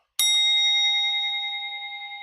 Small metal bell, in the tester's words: 맑은 소리가 나지요 그럼 이게 뭐지요 안 깨진 거죠